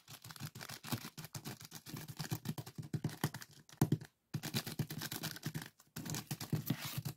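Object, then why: Plastic zip-lock bag filled with sand. Fingertips tap and scratch rapidly on a small clear plastic zip-lock bag full of purple sand granules resting on a wooden table. The result is a dense run of soft, low thumps layered with crisp, gritty scratching and crinkling. Two brief silences break the sound, around 4.2 and 5.9 seconds.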